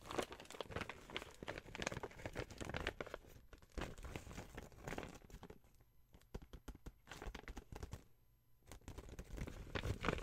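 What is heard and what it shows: Long white nails scratch and fingertips crinkle and rub the glossy plastic surface of a flat, empty pink printed gift bag reading "First we eat" with grey fabric handles. Dense, broadband crackling and crinkling bursts run throughout, with brief quieter lulls near the middle and shortly after. The sound is dry with almost no ring.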